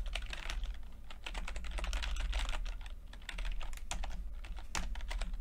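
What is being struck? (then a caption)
Plastic computer keyboard. Fingertips of both hands type continuously on a full-size plastic computer keyboard with red and blue backlit keys and low-profile keycaps. A rapid, steady stream of light, bright clicky taps runs throughout over a constant low hum.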